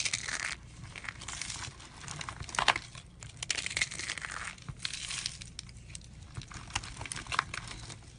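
A tray of thin, rolled, light-green dried soap tubes, hollow and brittle, is pressed and crushed with the fingertips and a fist. It makes dense, bright crunching and crinkling in several waves, with sharp crackles scattered throughout. The tubes break apart under the pressure.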